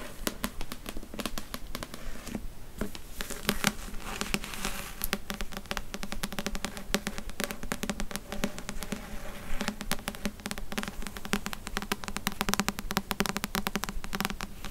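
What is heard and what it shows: Long nails rapidly tap and scratch the glossy card cover and spine of a thick, solid paperback novel (Outlander) held in the hand. The result is a dense, steady stream of short, dry clicks and scratchy rustles with a faint low hum around 200 Hz underneath.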